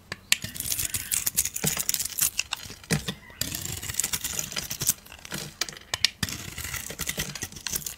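A solid bar of soap with a gold glitter coating and a cream inside is held in the hand and scraped with a blade. The scraping gives a dense run of crisp, bright, crackly strokes with dry rasping texture and little low end. Short louder scrapes stand out between quieter stretches.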